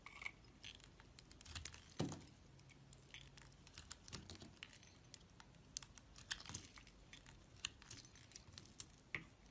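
A hand with long nails holds a solid, pre-scored red square soap block and cuts and scrapes it into flakes with a metal utility knife blade. The clip is quiet, with many sharp, bright crisp scrapes and crackles and a few duller, low thuds as pieces come away, near 2 seconds and again around 4 and 6.5 seconds.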